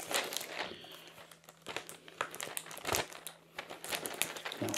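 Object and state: Cardboard gift box.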